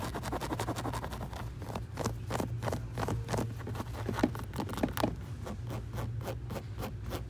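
Fingernails rapidly scratch along the fabric upper and white rubber sole edge of a hollow, empty, light grey canvas low-top sneaker with laces, resting on its orange shoebox. The result is a quick series of short, dry scratching strokes over a steady low hum.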